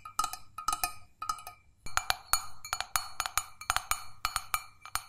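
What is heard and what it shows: An empty, hollow stainless steel mug is held up and tapped on its sides and base with long fingernails. It gives a quick, irregular series of sharp, bright clicks, each with a short metallic ping that dies away almost at once. A faint low hum sits underneath.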